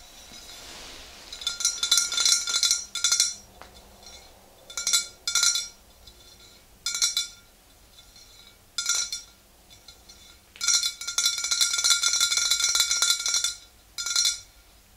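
Long green-painted nails on both hands tap the sides of a tall, clear glass swing-top bottle that stands upright and is mostly full of yellow liquid. Quick, bright clinking taps come in uneven bursts separated by quiet pauses. Each tap rings only briefly before fading.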